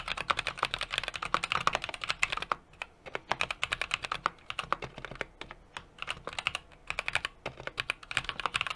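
Fingertips type continuously on a small 60% mechanical keyboard with an aluminum case, brass plate and plastic keycaps. The result is a rapid stream of short, bright clicks and clacks with a few brief pauses, each keystroke dying away almost instantly.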